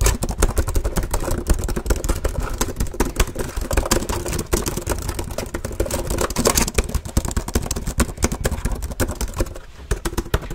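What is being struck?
Plastic laptop keyboard.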